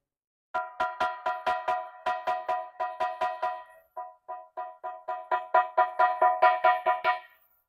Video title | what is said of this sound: LỘC BÌNH MEN LAM VẼ CHIM CÔNG SIÊU ĐẸP - LỘC BÌNH SỨ BÁT TRÀNG | rất là đanh, trong và vang tiếng. Chỉ có hàng đất trắng nung ở nhiệt độ cao mới cho ra được cái loại âm thanh như thế này